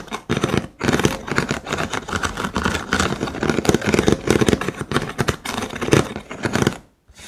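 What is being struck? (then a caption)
Cylinder holder of thin wooden sticks. Fingertips and nails scratch and tap the thin vertical wooden sticks of a hollow cylindrical holder. The result is a dense, continuous run of dry, rattling scrapes and quick clicks with a woody tone around 300 Hz. Each sound dies almost instantly, and the activity breaks off briefly near the start and again just before the end.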